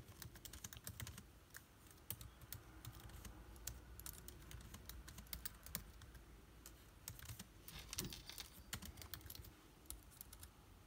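Fast fingertip typing on an aluminium laptop with plastic keycaps gives a dense, uneven stream of sharp, bright key clicks. The clicks are short and dry, with a steady low hum underneath throughout.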